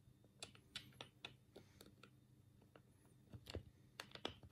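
Thumbs rapidly press the D-pad and A/B/C buttons on a black, hollow plastic Sega control pad held in both hands. The result is a quick, uneven run of sharp, dry plastic clicks with bright, high edges. Each click dies away almost at once over a faint low hum.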